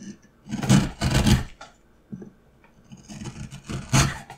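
A steel gouge cuts and scrapes a carved pattern into a solid, light pine wood block held in one hand. Several rough, rasping strokes carry a low woody body and a bright scratchy top, with two long, loud scrapes early on. Short quiet gaps and softer scratches follow before a final strong scrape.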